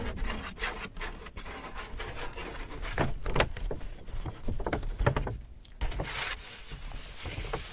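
Fingers rub and scratch across the surface of an empty white Hudson's Bay paper shopping bag. The result is dry, rasping paper friction broken by short, sharp scratchy strokes, with a soft crinkle and faint bright hiss over a dull low rumble.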